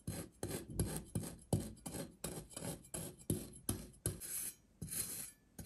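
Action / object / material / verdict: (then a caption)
scrape / kinetic sand shape scored with a steel knife edge / kinetic sand / none. A steel kitchen knife edge scores and scratches crosshatch lines into a hand-sized, solid, dense green kinetic sand seahorse shape resting on a white surface, with a pink sand shape lying untouched nearby. A steady series of short, gritty rasping strokes repeats about every third of a second, each with a low, soft thud under a bright, sandy scrape that quickly fades.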